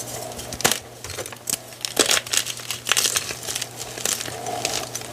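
A solid, dry block of white gym chalk (magnesium carbonate), reduced to a pile of crumbled chunks and powder, is pinched and crushed between fingers and thumbs. A run of bright, crisp crunches and crinkly crackles follows, each short and dry with almost no ring, over a faint steady low hum. The chalk breaks down into smaller crumbling pieces.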